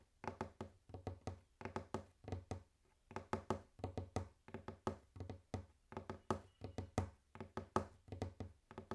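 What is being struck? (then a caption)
Wooden table. Fingers tap and knock on a wooden table in quick clusters of short, dry knocks separated by brief pauses. Each hit has a low thud with a hollow mid tone and dies away almost at once. The tapping starts gently and grows more intense and faster as it goes on.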